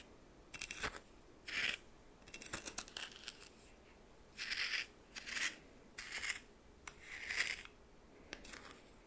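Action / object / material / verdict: scrape / coarse salt in a small bowl stirred with a plastic spoon / salt / none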